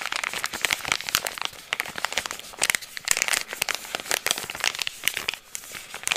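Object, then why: Soft plastic pouch of facial wipes. A hand-sized, green soft plastic resealable pouch of tea tree facial wipes, filled with wipes, is held in both hands and crinkled and squeezed with the fingertips. The result is a dense, continuous run of bright, crisp crinkles and sharp crackles, with very little low end and quick dry bursts that rise and fall throughout.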